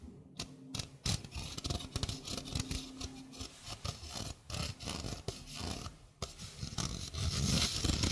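A small, hollow stainless steel mesh sink strainer is held in the hand while fingernails scratch and rub across its mesh. Dry, bright rasping and scraping come in irregular bursts over low, muffled handling rumble. A faint metallic hum rings briefly between some strokes.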